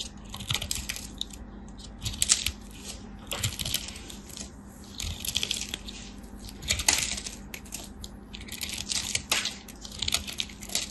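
A palm-sized lavender solid soap bar, held in hands with long white nails, is scraped and carved with a small utility knife blade while shavings crumble off. Bright, crisp scraping and crackling comes in dense bursts of short, dry hits with almost no ring, over a faint steady low hum.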